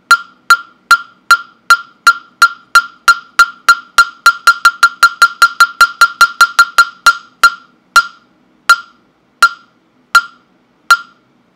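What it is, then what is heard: Wooden mokugyo fish block. A hollow carved wooden mokugyo fish block, held in hand near the microphone, is struck with a mallet 33 times in sharp, dry knocks. Each knock has a clear woody pitch around 1.4 kHz with a bright click and almost no ring. The strikes start at a steady pace, speed up into a quicker run in the middle, then slow and spread out toward the end.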